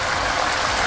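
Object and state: Nothing is struck.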